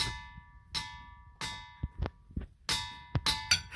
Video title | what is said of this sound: Singing rocks, the black hills, and much more!!! 2000 mile roadtrip | these rocks when you hit them with a hammer it kind of sounds like a bell